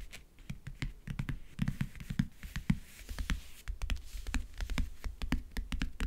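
Fingernails scratch and grip the textured, map-print lid of a closed, hollow backgammon case. The result is a dense, irregular run of short, dry scratches and taps, each ringing briefly with a low, hollow thud from the case body.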